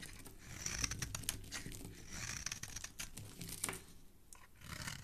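A small blade repeatedly scrapes and shaves a solid oval orange bar of soap, held in a hand with dark painted nails, into curly shavings over a wooden table. Quiet, bright, crisp scraping and crackling strokes come in quick bursts with a soft low rumble beneath. Each stroke stops dead with no ring.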